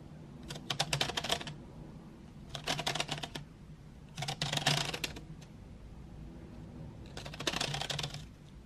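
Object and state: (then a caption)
Wooden pencils in a metal tin. Long white nails tap and rake across painted wooden graphite pencils lying in an open metal tin tray. The result is four bursts of rapid, bright, dry clicking and rattling, separated by short pauses, over a faint, steady low hum.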